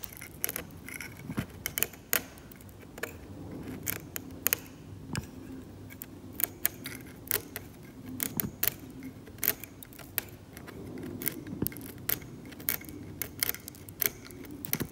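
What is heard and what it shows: A metal scalpel scrapes the paint layer of a glossy, cracked, varnished oil painting on canvas in short strokes. Many brief, bright, scratchy ticks and rasps sit over a quiet, low, steady background, each one stopping almost instantly with no ring.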